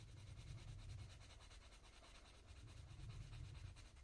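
A purple coloured pencil rubs and scratches across the thin paper page of a colouring book while shading the centre of a flower. The result is a quiet, continuous back-and-forth rubbing at about four strokes per second, with a soft low body and faint bright scratchy grain on top.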